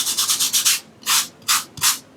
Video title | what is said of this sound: How to Paint Underpaintings with Jon #1 | see how rough that is?